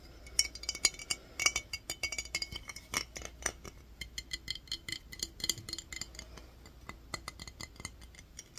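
A clear glass mason jar with a metal lid, partly filled with water, is held in one hand and tapped with the fingernails. Rapid, irregular bright clicks and glassy taps follow one another, each dying away almost at once. A faint low hum sits steadily underneath.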